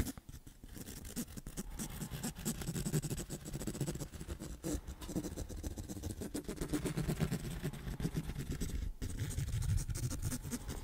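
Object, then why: Hardcover sketchbook cover, cloth or board bound. The tip of a pen scratches across the cover of a large black hardcover sketchbook, held closed and upright near the microphone. The result is a steady, dense, low-pitched scraping that stays heavy in the low end with very little high hiss, pausing briefly near nine seconds before continuing.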